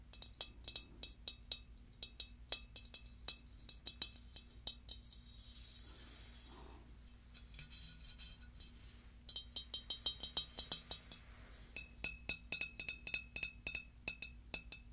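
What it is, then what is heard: Glazed ceramic pumpkin. Long dark nails tap the glossy surface and gold stem of a large hollow pink pearlescent glazed ceramic pumpkin. The result is a rapid series of short, bright clinks with very little ring. Soft rubbing and scratching sounds fill a few pauses between the taps.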